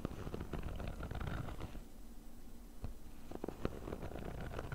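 Short fingernails of both hands rapidly scratch the fabric top of a small, hollow, black padded nylon zip case. The result is a dense, low, rumbling scratch with brief brighter ticks. It eases into a quieter stretch partway through, then picks back up with sharper scrapes.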